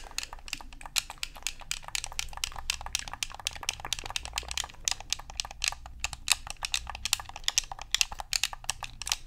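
Fingers tap and scratch the hollow plastic shell of a black Xbox controller and press its buttons. The result is a dense, fast stream of short, dry, bright clicks and taps over a soft low hum.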